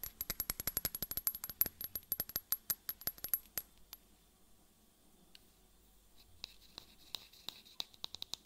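Long fingernails tap and scratch near the white cap and neck of a tall, clear bottle held upright, which looks like glass but may be plastic. A rapid run of sharp, bright clicks with a faint high ring fills the first few seconds, then a quiet pause with soft scratching. Sparser, brighter taps return toward the end.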